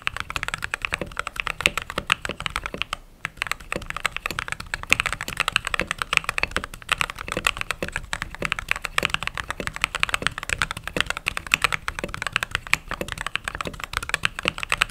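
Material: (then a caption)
Plastic. Fingertips with short nails type rapidly on the white plastic keycaps of a backlit mechanical keyboard. It makes a steady stream of crisp, bright clicks and clacks with almost no ring and little low end, broken by a brief pause near the three-second mark.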